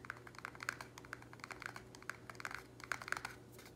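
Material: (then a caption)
Plastic. Fingernails rapidly tap the walls of a small, empty, square black plastic nursery pot held in the air. The result is a quick, uneven run of dry, hollow clicks centered around 1.5 kHz that stop almost instantly with no ring, over a faint steady low hum.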